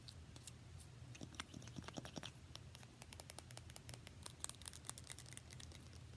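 A small pink plastic lip gloss tube with a metallic cap, held in the fingers, is tapped quickly with long nails. The sound is a dense run of light, sharp clicks and ticks over a steady low hum.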